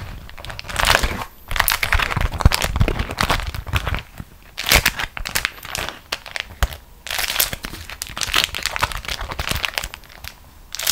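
A thin beeswax-coated cotton food wrap is gathered up and crumpled into a ball by both hands with long nails. Bursts of bright, dry crinkling and crackling come and go in uneven waves, separated by brief quieter pauses.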